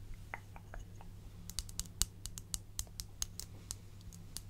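An empty, small, hollow, glazed white ceramic bowl or dish is held in one hand and tapped and scratched with long acrylic nails. About 15 short, bright clicks stand apart over a steady low hum, starting soft and scratchy, then turning sharper and louder after the first second and a half. Each tap dies away almost at once.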